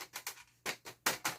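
The metal bottom casing of a small gadget, apparently a small laptop, is tapped in a quick series of light, bright ticks with very short ring. Another part of the device is plastic.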